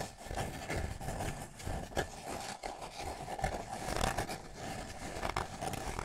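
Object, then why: Small paper cup. Fingertips rub and scratch the outer surface of a small, empty, hollow white paper cup held close to the microphone. The result is a steady, dry scraping texture with soft peaks, a hollow tone around 770 Hz, and a low rumble underneath.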